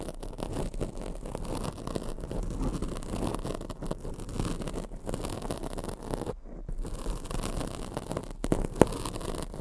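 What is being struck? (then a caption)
Foam microphone windscreen. Long acrylic nails scratch a black foam microphone windscreen, making a dense, steady, low-heavy scratching and rustling with little brightness. The sound briefly cuts out around the middle and ends with a sharp tick near the finish.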